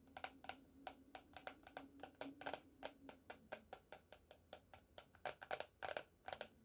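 Fingernails tap the cardboard cover of a closed teal hardcover paper notebook lying on a table, producing roughly thirty quick, dry clicks in an uneven rhythm. Each tap is short and bright with almost no ring, over a faint steady low hum.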